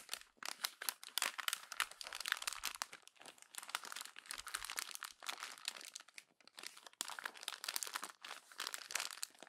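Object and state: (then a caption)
Glossy magazine page being crumpled. A hand crumples a single page of an open glossy paper magazine into a ball against the spread. Dense, bright crinkling and crackling comes in rapid bursts with brief lulls, with almost no low end, and the noise goes on steadily throughout the clip.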